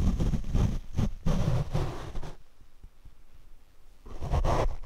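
Large paint brush bristles brush across a black foam windscreen on a Rode microphone, producing dense, low, rumbling scratchy swishes with heavy bass thumps. The brushing drops to a faint, quiet stretch in the middle before resuming strongly at the end.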